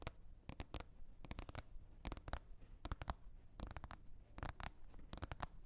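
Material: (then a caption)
Plastic. Long red nails tap and scratch a green plastic container lid, making quick, dry clicks in small clustered bursts that die away at once. Between the taps, soft scratching and a low rumble stay underneath, all at a quiet level.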